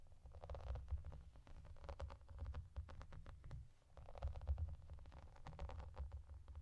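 Long dark nails scratch and tap across the small raised bubbles of a translucent clear plastic bubble bathmat, making quiet, rapid clicks over a low rumbling bed. The scratching swells in two waves, with soft crackly texture around the midrange and sharp, brief taps that die out almost instantly.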